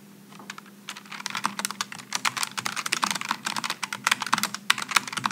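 Both hands type with their fingertips on a Logitech G915 low-profile mechanical keyboard with aluminum and plastic keycaps. A quick, uneven stream of short, bright clicks starts softly and grows denser and louder, each keystroke dying away almost instantly. A faint steady low hum runs underneath.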